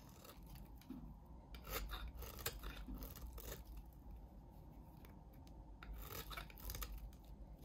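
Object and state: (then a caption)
Bar of soap scraped. A solid light green bar of soap is scraped and shaved with a utility knife blade, and curls of soap fall away. The audio has repeated dry, rasping scrapes with bright bursts over a low steady background. The strokes run together rather than landing as separate hits.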